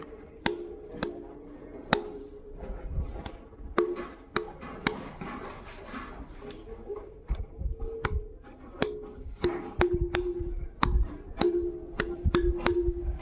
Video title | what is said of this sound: తాడిపత్రి బుగ్గ రామలింగేశ్వర స్వామి - Tadipatri Bugga Ramalingeswara Swamy Temple Full Travel Tour | మీరు ఎక్కడైనా చూడండి స్తంభాన్ని కొడితే టప్ అనే సౌండ్ వస్తుంది కానీ ఇక్కడ ఒక ధ్వని మాదిరి వస్తుంది